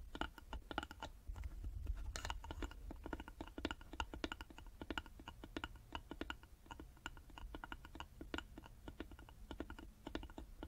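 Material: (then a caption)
Wood. Long nails tap rapidly on the wooden sides of a small, hollow carved wooden box held in both hands. The result is a dense, uneven stream of crisp, dry clicks that die away almost instantly, with a hollow knock centered in the mids and bright edges, over a soft low rumble.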